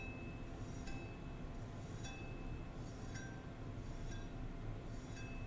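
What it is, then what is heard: Decorative battle axe head. The head of a decorative battle axe with a blunt edge and dragon designs is held and struck or flicked. It gives bright, clinking metallic tones at a steady pace, each ringing briefly over a constant low rumble.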